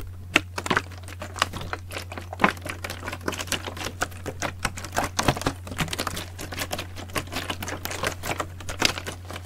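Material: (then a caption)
Plastic. Fingertips tap and handle the ribbed sides of a large, clear green PET plastic bottle with a red cap, partly filled with liquid and held up. Quick, irregular, crisp plastic taps and crinkly clicks with a bright edge sound over a steady low hum.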